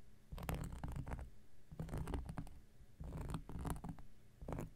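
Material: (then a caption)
Cork. An X-Acto knife blade scratches across a round, flat, solid cork coaster. Quiet, dull, low-heavy scraping comes in short bursts of rapid strokes with brief pauses between them, each stroke carrying a faint bright edge and stopping dead with almost no ring.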